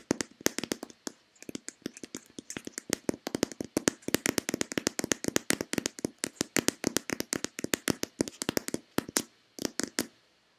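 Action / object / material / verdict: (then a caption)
tap / plastic lotion bottle / plastic / none. Long painted fingernails rapidly tap and scratch a hand-sized, hollow white Nivea plastic lotion bottle for about ten seconds. The result is a dense stream of dozens of short, dry, clicky taps with a hollow body around 300 Hz and bright, crisp tops, ending in a brief pause and a few final taps.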